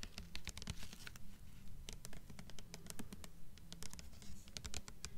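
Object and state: Hardcover book cover tapped with nails.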